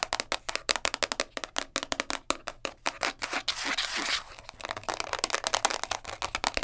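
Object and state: Plastic container lid.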